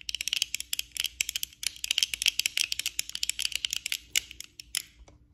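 Long acrylic nails tap rapidly with both hands on the lenses and frame of worn black plastic eyeglasses. The result is a fast, irregular stream of crisp, bright clicks with almost no ring and a faint steady hum underneath.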